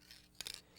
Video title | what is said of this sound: Creations in Clay Rodan's Head Painting - Clay tutorial for beginners | you shake it up you can hear the little ball in there